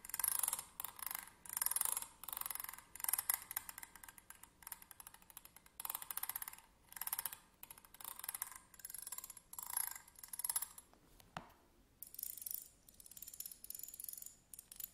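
Slim metal tweezers lie flat on a table while a thin pointed stick scratches along their ridged grip, making repeated bursts of bright, raspy, rapidly ticking scratches. Partway through there is a brief sharp click, and softer scratching follows as the tweezers are picked up.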